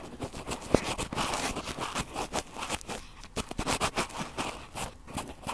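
Cotton swabs are rubbed in circles on the two metal mesh capsule grilles of a red recorder. The result is a close, continuous scratchy scraping with many soft rapid strokes and one sharp tap early on.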